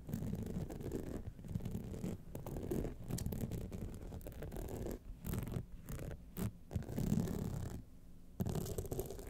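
Long nails scratch across the sides, top and lower band of a gold rhinestone-studded clutch wallet. It makes a dense, low, muffled rasping that runs almost continuously, with a few brief quiet gaps between passes.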